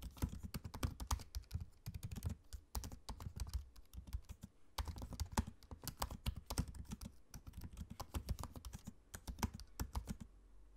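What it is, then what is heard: Laptop keyboard with plastic keys. Fingertips type steadily on a MacBook-style laptop keyboard with low-profile plastic keycaps set in a space-grey aluminium body. The result is a fast run of short, dry taps, each with a soft low thud and a brief bright click. The typing eases briefly at about 2.7 and 4.5 seconds, then resumes.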